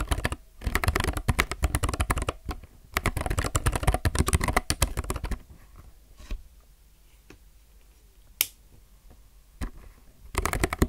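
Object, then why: Mechanical keyboard with plastic keycaps. Fingertips type in fast bursts on a low-profile mechanical keyboard with plastic keycaps, producing dense runs of short, sharp clicks. The typing pauses midway, leaving only a few isolated taps before another burst starts at the end.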